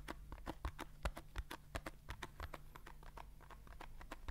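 Fingertips and nails tap quickly on the sides of a small paper juice carton, making a rapid, uneven run of dry, clicky taps. Each tap has a soft low thump and a brighter crisp edge that dies away almost at once, over a faint steady low hum.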